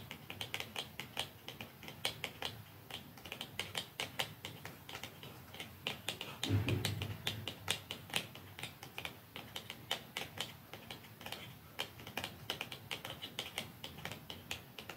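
Long nails and fingertips tap along the length of a small, hollow, dark cardboard mascara box lying flat, with a second untouched box nearby. A steady stream of quick, crisp, bright clicks comes with very short decay and a faint papery hollowness. Around the middle, a louder, fuller patch with more low-end body briefly stands out before the light tapping continues.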